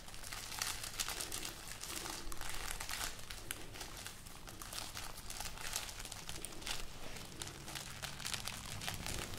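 Long painted nails and fingertips rub, scratch and crinkle the hollow, thin-skinned, brittle pods of a hanging bunch of dried red chili peppers tied on a string. A steady papery crinkling with dense, bright crackles runs throughout over a low background rumble.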